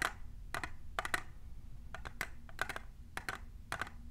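Long nails fitted with plastic clips tap on a tall, hollow, clear printed plastic tumbler cup. The result is quick clusters of short, bright clicks around 1.9 kHz that die away almost instantly over a steady low hum.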